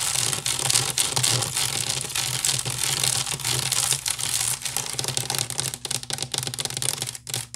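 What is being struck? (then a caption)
Woven wicker basket. Long nails on both hands scratch fast across the weave of a large, hollow woven wicker basket. The result is a dense, bright, crackly rasp of rapid irregular scrapes over a low hollow hum, the scratching running steadily before thinning into sparser strokes near the end.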